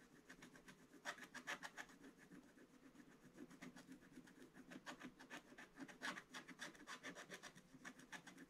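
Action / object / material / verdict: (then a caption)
scrape / scratch-art paper page scraped with a wooden stylus / coated paper / none. A wooden stylus scratches away the black coating in a calendar square of a scratch-art paper page from an advent calendar book, lying flat on a table. Quick, uneven, dry scratching strokes follow one another steadily, each a brief bright rasp over a soft low rustle.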